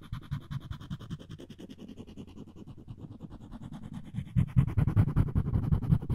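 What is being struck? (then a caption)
Wooden spoon handle rubbed with string. A string of floss is rapidly rubbed and scratched across the edge of a solid wooden spoon handle, making a fast, steady run of dry, low scratching strokes. The rubbing grows noticeably louder and fuller in its last two seconds.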